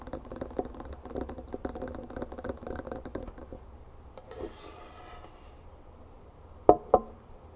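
A drinking glass tumbler full of ice water and cucumber slices is tapped and scratched with long fingernails. For about three and a half seconds come rapid, uneven clicky taps, roughly four per second, followed by a quieter stretch of soft scratching. The clip ends with two sharp, louder taps.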